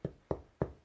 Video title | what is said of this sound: Mes tatouage | c'est creux ça sonne creux